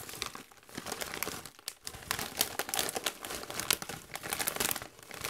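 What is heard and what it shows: A Doritos chip bag of metallized plastic foil, partly full of chips, is crinkled and squeezed by gloved hands. Dense, bright crackling and rustling comes in rapid bursts with a short quiet dip partway through. Nothing rings on, and the sound stays high and crisp with almost no low end.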